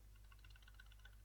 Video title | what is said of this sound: This Trick Box is locked by an Ingeniously Clever Mechanism - The Radbox | you can hear that there is some slight noise coming from inside very very slight